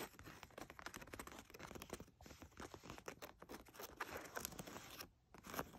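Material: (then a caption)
Denim. Long acrylic nails scratch and rub the front of soft blue denim jeans lying flat on a fur rug, working over the waistband and near the metal button. The result is a dense stream of quick, dry scratching and rasping strokes, with a brief lull near the end before a final burst of scratching.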